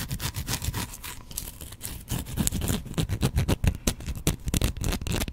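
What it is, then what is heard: Bar of soap scratched with fingernails. A solid, hand-sized white bar of soap is held in one hand and scratched with fingernails. The result is a rapid, uneven run of dry, crackly scraping strokes, each a short bright rasp over a soft low thump, with little ring between them.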